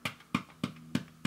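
Five short, dry taps on the paper cone of a modified Tesla ARO/ARZ 711 wide-range loudspeaker with a textile surround, each a quick thud with a low body and a brief bright click that dies almost at once. The cone sounds extremely hard and stiff, a sign of a bigger, stiffer cone from the modification.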